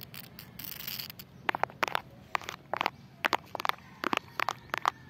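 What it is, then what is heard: Concrete pavement slab. Long clear-and-purple acrylic nails rub and scratch across a large, solid, rough, speckled concrete or stone pavement slab outdoors that has a crack in it. A soft, hissy rubbing opens the clip, then gives way to a quick series of sharp, dry scratches and clicks with a bright edge. Each stops almost at once over a faint background hush.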